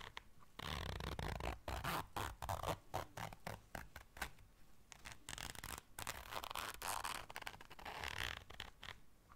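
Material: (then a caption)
Fabric. A small round black fabric zipper case is held in the hands while long dark nails zip it and scratch across it. Quick, irregular bursts of bright, rasping zipper teeth and scratchy fabric strokes follow one another closely over a faint low rumble.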